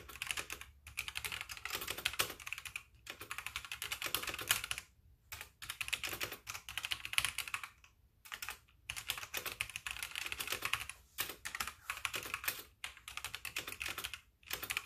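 Both hands type steadily on a full-size backlit plastic mechanical keyboard with white plastic keycaps, struck by fingertips with painted nails. Dense, bright, clicky keystrokes with very short decay come in bursts separated by brief pauses.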